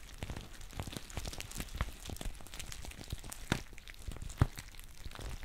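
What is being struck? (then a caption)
Foil tea pouch. A green foil tea pouch is held close to the microphone while its base is squeezed and crinkled with long painted nails. The result is a quiet, continuous crackling rustle broken by irregular sharp ticks and a few louder snaps.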